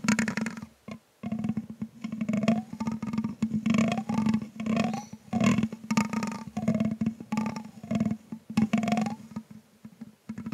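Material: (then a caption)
Metal mesh. A thin grey stick is scratched and tapped across the hollow metal mesh grille of a condenser microphone with a green LED inside, sitting on a small tripod while the other hand steadies the stand. Close, dry scratching and quick tapping bursts come in rapid clusters over a steady low hum, with tones that slide up and down in the midrange.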